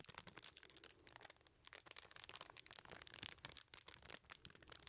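A small aluminum foil-wrapped package is held in both hands while fingertips squeeze and crinkle the foil. Dense, bright, crackling crinkles come in quick bursts throughout, with brief quieter gaps and little low end.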